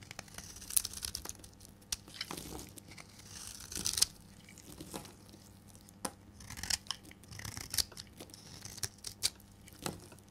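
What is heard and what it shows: A solid, rectangular, dry green bar of soap is held in the hand and shaved with a metal blade, cutting off flakes. A series of short, dry, bright scraping and crisp tearing-like shaves is heard, separated by quiet pauses, with no ring after each stroke.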